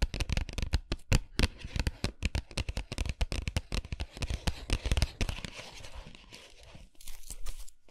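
Fingernails rapidly tap and scratch the printed surface of an upright cardboard dark chocolate box held in both hands. Close, dull, low-heavy taps mix with dry, papery scratching and crinkling. The taps grow softer and sparser toward the end before a final burst of brisk, brighter scratching.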